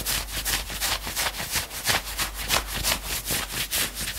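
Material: Knit fabric.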